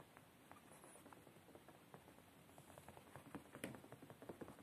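Fingertips quickly tap and scratch on a beige woven fabric padded chair seat. Soft, muffled taps patter irregularly over a faint, steady scratchy hiss, becoming a little sharper and louder near the end.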